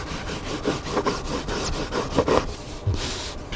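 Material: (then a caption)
Book board. Fingertips and nails scratch and rub across the top cover of a large, solid hardcover cookbook with a black spine lying flat on a table. The result is a steady run of dry, papery scraping strokes, mostly midrange with a light bright hiss. A slightly louder brushing swipe comes near the end.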